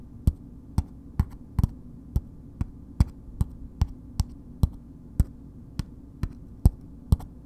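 Long nails slowly tap a solid bar of soap in a red paper wrapper, making 17 short, dry taps with crisp high clicks over a low, steady hum. Each tap dies away almost at once, and two taps fall close together near the start.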